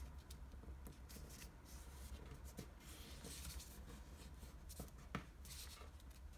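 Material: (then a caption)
Paper. A single green floral washi origami sheet, a patterned Japanese paper, is folded on a table as fingertips crease and rub the folds. Soft, dry paper rustles and scratchy rubbing come and go with a few brief, sharper crinkles over a steady low hum. One crisp crease stands out near the end.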